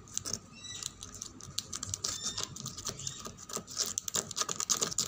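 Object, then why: Painted wooden tabletop tapped and scratched with fingernails. Fingernails tap and scratch across a reddish-brown painted wooden tabletop and its edge. The result is a quick, bright patter of dry clicks and short scraping strokes with almost no ring, growing busier toward the end.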